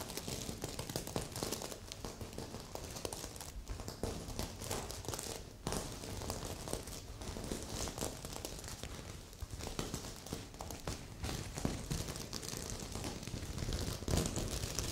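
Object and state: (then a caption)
Sequin fabric pillow. Long nails scratch across a magenta sequin heart pillow, producing a continuous dense crinkling, crackling rustle with bright high hiss and low thumpy texture for fifteen seconds. A second pillow sits nearby untouched.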